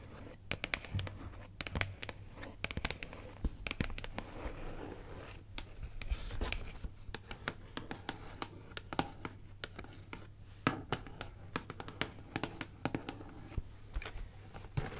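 Long acrylic nails tap and scratch the printed surfaces of a medium-sized, closed cardboard LEGO Harry Potter set box, likely full, held up in the hand. Quick, dry, sharp taps mix with soft scratchy rasps, each sound dying away almost at once over a steady low hum.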